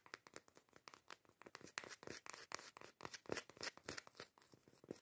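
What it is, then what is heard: Cork coaster lid scratched with fingernails. Long acrylic nails scratch the grainy surface of a round, solid cork coaster lid held in the hands. The result is a quiet, rapid series of short, dry, crackly scratches with a bright, papery texture, each stopping almost at once.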